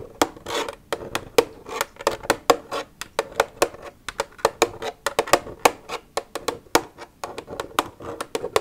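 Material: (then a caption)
Plastic. Long red nails tap and scratch an empty, hollow white plastic milk jug lying on its side. A quick, irregular string of sharp, bright clicks carries a hollow midrange tone, and brief scratchy rustles fill the gaps between taps. Each tap dies away almost at once.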